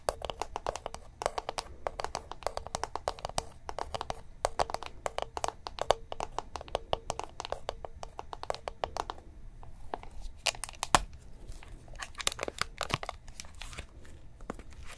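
Long painted nails tap and scratch across the lid of a round, black, palm-sized plastic cushion foundation compact, which is hollow and held in one hand. Rapid, clicky taps with a hollow ring around 1 kHz come in dense bursts for about nine seconds. After that they thin out into sparser, sharper taps and soft scratching.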